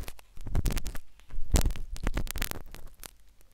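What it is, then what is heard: Silicone ear microphone scraped inside the canal. A metal syringe needle scratches inside the canal of a solid white soft silicone ear replica on a binaural microphone, entering from a different angle. Dense, crackly scraping and tapping is heard, with strong low-frequency thumps and brief bright clicks.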